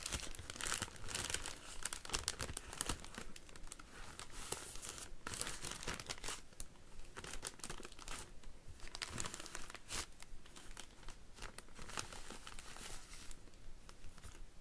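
Fingertips and nails scratch and rub the thin clear plastic sheet lining an empty, round woven wicker hanging basket with a handle. A steady, uneven crinkling and rustling carries on throughout, with dense bright bursts of crackle coming and going. Each crackle is short and dry, with no ringing tail.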